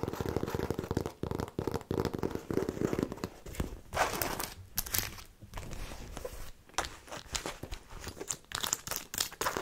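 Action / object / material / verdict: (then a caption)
scrape / fabric and faux-leather handbag / fabric / none. Long painted nails scratch and tap the logo-jacquard fabric side of a medium black handbag with black faux-leather trim and silver metal buckles, held close to the mic; the bag is hollow and looks empty. A dense, raspy scratching fills the first few seconds, then gives way to brighter, crinkly scrapes and quick dry taps separated by short quiet gaps.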